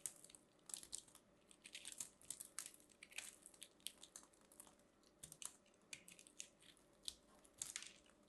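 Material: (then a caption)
Soap. A metal craft knife carves and scrapes a small orange and white ball of compressed soap shavings held in the hand, cutting off crunchy flakes from the solid, crumbly ball. A quiet run of bright, crisp crunches and scratchy crackles follows, each stroke snapping sharply and stopping almost at once.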